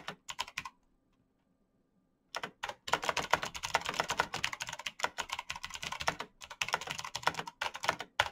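Bare fingertips type fast on the plastic keycaps of a black plastic backlit mechanical keyboard with clicky green switches. A few sharp clicks are followed by a quiet pause, then a dense, rapid run of bright, crisp clacks with almost no ring.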